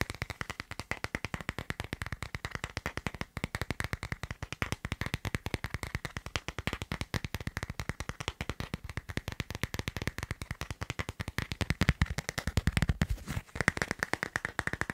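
Fingertips and nails tap fast on a smartphone in a thin, transparent plastic case with a line-drawing design on the back, a hollow shell over a solid phone, held in one hand. A rapid, steady stream of short, dry clicks, about nine per second, each with a dull low thump and a faint plastic tone near 1.9 kHz. The taps die almost instantly, with a heavier low burst and a brief pause around 13 seconds.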